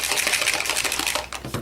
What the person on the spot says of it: you should be able to hear that ball and it's got that ball in all of them and it's mixing up the pigment